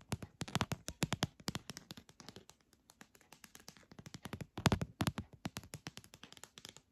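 Long dark-painted nails tap rapidly on a long, narrow, hollow red translucent plastic pill organizer with compartments, held up close. The dozens of quick, dry clicks die away almost instantly, with a hollow low body and some bright edge, and faint music may sit underneath.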